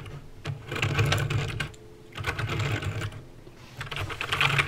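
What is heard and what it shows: Fingertips press the keys one at a time on a backlit mechanical keyboard with plastic keycaps and clicky green switches. Quick, bright clicks with a low plastic clack come in three uneven bursts separated by brief pauses.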